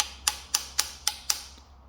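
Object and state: Timing sprocket fully seated on crankshaft.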